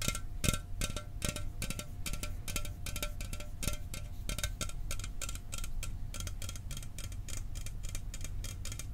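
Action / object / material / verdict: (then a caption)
tap / aluminum soda can / aluminum / none. A sealed, hollow 12 oz Mountain Dew aluminum soda can is held in one hand and tapped rapidly with fingernails. The result is a fast, steady stream of short, dry clicks with a bright metallic edge and a faint ringing tone, over a low, dull body.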